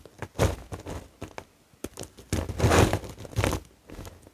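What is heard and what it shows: A pile of white, dry bar-soap flakes and brittle chunks resting on a grey cloth is pressed, crushed and rubbed with the fingertips of both hands. It gives a run of dry crumbling, crinkling crunches in uneven bursts, with soft low thuds under the grainy texture and short pauses between pushes.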